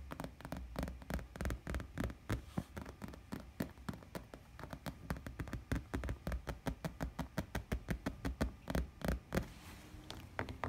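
Fingertips and nails tap and scratch the piped edge of a white glossy faux leather chair seat. The result is a quiet stream of rapid, irregular, dry taps with a dull low thud and a short bright click that stops almost instantly, plus a soft scratchy rustle toward the end.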